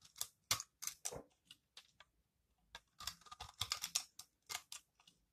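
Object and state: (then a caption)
Dry soap bar being shaved. A metal blade with a yellow handle shaves crumbly curls off the flat face of a solid green, dry recycled soap bar held in the hand. The result is a quick series of short, dry, bright scraping crunches with quiet gaps between them and no lingering ring.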